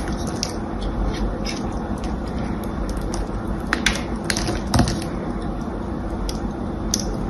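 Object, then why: Bar of soap scraped with a small metal blade. A solid rectangular bar of green-painted soap with a carved pattern is held in one hand and scraped and carved with a small metal blade, flaking soap off its surface. A steady, low, grainy scraping runs throughout, dotted with short, bright, crisp ticks where the blade catches and chips.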